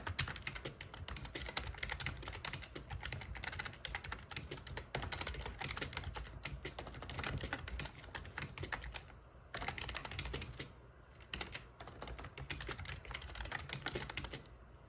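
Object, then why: Plastic computer keyboard. Fingertips type quickly on a backlit black plastic gaming keyboard, making a dense, continuous stream of bright clicking and clacking keystrokes over a steady low hum. The typing briefly pauses twice before picking back up.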